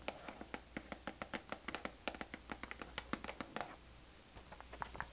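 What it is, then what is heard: Cardboard tea box. Long nails tap quickly on the front panel of a hollow, rectangular printed cardboard herbal tea box held up in the air. About 25 short, dry, clicky taps with almost no ring run steadily for nearly four seconds, pause briefly, then return as a few softer taps over a faint low hum.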